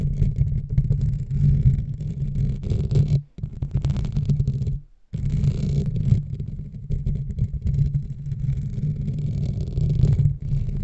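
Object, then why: Metal wire-mesh microphone grille. Long nails scratch and tap both sides of the dark metal wire-mesh grille on the hollow head of a large USB desk microphone. The result is a dense, close, low rumbling scrape centered around 105 Hz, with nearly all its energy in the deep bass and fast, clattering texture. The sound breaks off briefly near 3.3 and 5 seconds before the scratching resumes.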